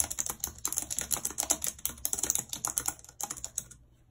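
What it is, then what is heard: Plastic computer keyboard being typed on. Long red nails tap the keys of a white plastic computer keyboard while typing, making a quick, uneven run of bright, sharp plastic clicks and nail taps with very little low end. The clicking runs steadily for most of the clip, then stops, leaving a short stretch of near silence.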